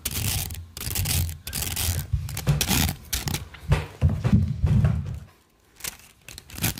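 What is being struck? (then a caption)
Plastic coil spring toy. Long nails and fingertips scratch and rub along the ridges of a hollow, multicolored plastic rainbow slinky held close to the microphone. The result is a dense, irregular run of crisp, raspy scratching bursts over a deep, muffled low rumble. The sound dips into a brief near-silence just past the five-second mark before the scratching resumes.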